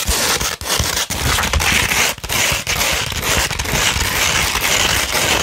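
Long pointed red-painted nails scratch a thin, flexible sheet of fine tan 240-grit sandpaper, held flat and slightly curved. The result is a dense, gritty, bright scraping texture with crackly grain. It runs steadily, broken by a few brief pauses between strokes.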